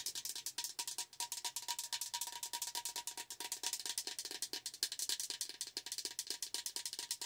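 Long acrylic nails tap rapidly on the sides and lid of a tall, hollow green-blue plastic tumbler with a lid and straw. Dozens of quick, bright clicks come in a steady, even rhythm, each dying away almost at once, over a faint ringing tone near 1 kHz.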